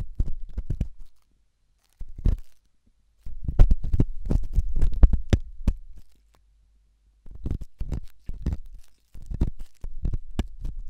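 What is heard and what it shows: A thin hooked stainless steel probe scratches inside the ear canal of a white silicone ear-shaped microphone. It makes close, deep, muffled scraping and rubbing with quick bursts of crackle. The bursts come in clusters separated by short silences.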